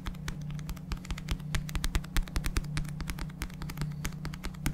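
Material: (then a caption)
Paper. A paperback book is held upright in front of a microphone while fingertips tap and scratch its glossy paper back cover. Quick, irregular, dry taps with bright clicky tops mix with soft scratching over a steady low hum. Each tap dies away almost instantly.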